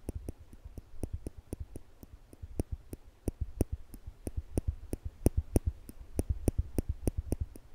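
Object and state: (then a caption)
Stainless steel tweezers clicking. Small polished stainless steel tweezers are held in one hand near a microphone while the fingertips squeeze the arms, making the metal tips click together. About 37 short, sharp clicks come at a steady, quick pace with no ring-out, each with a low thump and a faint bright tick on top.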